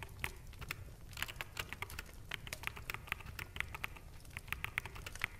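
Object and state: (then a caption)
Plastic mechanical keyboard being typed on. Fingertips of both hands type on a full-size black mechanical keyboard with plastic keycaps, producing a steady run of quick, sharp key clicks. The clicks are bright and dry, centered around 2 kHz, with a soft low rumble underneath.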